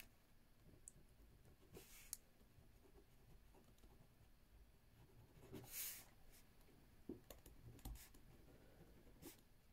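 A ballpoint pen, held in the fingertips and writing left-handed, moves across a spiral lined paper notebook on a wooden table. Quiet, soft scratching runs throughout, broken by brief bright clicks and strokes, with a louder, airy scrape about two-thirds of the way in. A low, steady background murmur sits beneath it.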